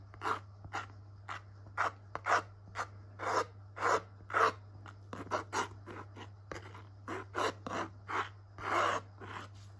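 A metal palette knife drags thick, wet purple and blue acrylic paint across a small canvas panel held in a gloved hand. About 21 short, rasping scrape strokes come in an uneven rhythm, each a brief bright rub centered in the midrange. A steady low hum runs underneath throughout.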